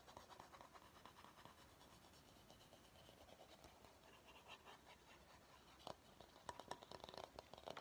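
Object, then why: Bamboo bowl. Fingernails scratch the curved outer surface of a medium, empty bamboo bowl, making a soft, dry rasping that runs steadily with a faint hollow mid-range tone. Near the end the scratching turns into sharper, brighter strokes and light clicks that stand out above the quiet rasp.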